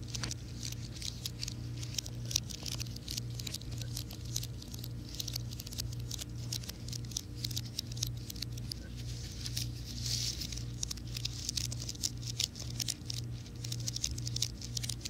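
A slim white plastic and aluminum wireless keyboard is held flat, then upright, in both hands while fingertips and nails tap and scratch its keys. Quick, dry, bright clicks and soft scratching patter continuously through the clip over a steady low hum.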